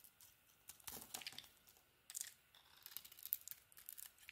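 A utility knife blade, held by a hand with long dark nails, carves an orange bar of soap with a green coating. Quiet, dry, crisp scraping and shaving sounds come in short bursts, mostly high and bright with almost no low end and no ring. Brief pauses fall between the cuts.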